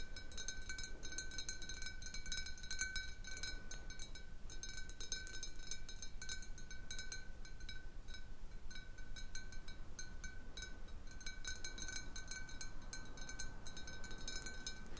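Long painted nails tap a large, clear, hollow glass bottle with a little water at the bottom, resting on a wooden table. The dense, fast tapping makes bright glassy clicks over a steady ringing tone near 1.5 kHz and a fainter one near 2.3 kHz. A soft low rumble runs underneath.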